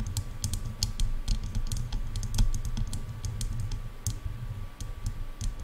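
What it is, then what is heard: Plastic headphone earcups. Long nails tap quickly on the sides of the hollow plastic earcups of over-ear headphones, making a rapid, uneven run of short, crisp clicks with bright high ticks. The taps sit over a dense low rumble with a faint steady tone near 1.1 kHz, and each click dies away almost instantly.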